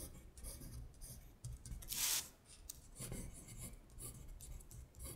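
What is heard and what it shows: Long stiletto acrylic nails tap and scratch rapidly across a thin printed paper worksheet of Korean colors lying flat on a glittery surface. The sound is a run of bright, dry, raspy scratches and soft taps over a low rumble, with one louder, harsher scrape partway through.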